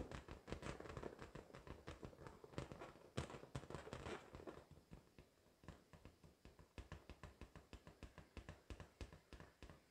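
A pink, hollow, air-filled latex balloon, held in both hands, is tapped rapidly with long decorated acrylic nails. The result is a dense run of short, dull thumps with light clicky edges, loud and crowded at first, then quieter and more evenly spaced. The balloon does not pop.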